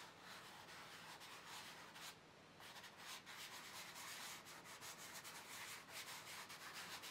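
Fingertips rub and smudge chalk in circular blending motions across a large black paper sketchbook page lying flat. A soft, steady, breathy scratching hiss fills the high range, with a brief quieter pause before the rubbing resumes in uneven strokes.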